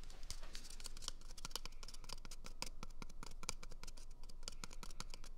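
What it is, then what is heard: Cardboard tube scratched and tapped. Fingertips and short nails scratch and tap along an empty, hollow, small brown cardboard toilet paper tube held close to the microphone. Quick, irregular crisp scratches and bright clicking taps sound over a steady low, hollow rumble, each one dying away almost at once.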